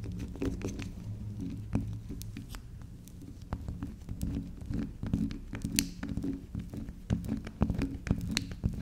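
A small, solid round pink soap disc with a dark pink spiral is held, tapped and scratched with long pink acrylic nails, with soap shavings on the table. Soft, short clicks and scrapes repeat irregularly over a steady low hum, with a few sharper, brighter taps standing out.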